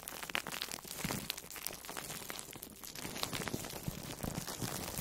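An orange-slice-shaped foam sponge wrapped in plastic food wrap is pressed and squeezed with fingertips and long nails. The result is a dense, steady stream of bright crinkling and crunchy crackles, with sharp short snaps and a soft low rustle underneath.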